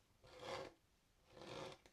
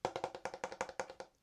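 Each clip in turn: First: gritty skateboard grip tape. Second: hard wooden skateboard deck.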